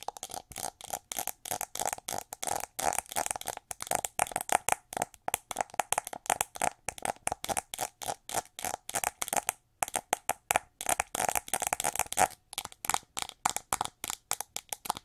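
Long nails tap and scratch the sculpted wing-pattern ridges on the back of a shiny, gold-coated, hollow plastic hair brush. The clip is a steady run of rapid, dry clicks and scratchy strokes with a hollow tone around 750 Hz and bright, crisp highs. Each hit dies almost instantly, with a brief pause near the middle.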